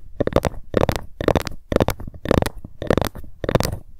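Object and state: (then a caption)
Ruler tapped with long fingernails. A ruler is tapped fast with long fingernails, sometimes with a light scratch, in seven quick bursts of clicky taps with short pauses between. The taps are dry and short with no ring, sitting mostly in the low and mid range around a 520 Hz tone.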